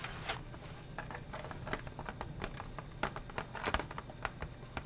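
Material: Cardboard.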